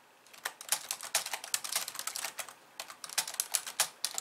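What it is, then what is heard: Plastic computer keyboard being typed on. Long painted nails type and tap on the white keys of a hollow, pink-framed plastic computer keyboard resting on a wooden desk. Bright, sharp clicks come in quick, uneven bursts with brief pauses, each one dying away almost at once with no low thump beneath.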